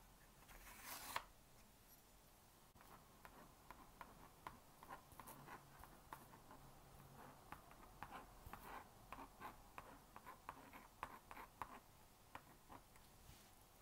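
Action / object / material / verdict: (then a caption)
scrape / plastic magnetic drawing board with stylus / plastic / none. A plastic magnetic stylus scratches across the honeycomb screen of a small blue-and-pink plastic magnetic drawing board while writing characters. It opens with a brief, brighter rasp, followed by quiet, dry scratching and a steady run of short ticks centered around 1 kHz.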